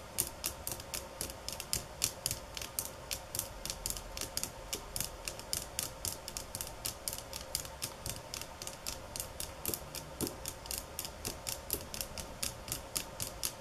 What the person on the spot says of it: Tapping on Bamboo sticks ~ Golpetear Palos de Bamboo 9:05 - 14:11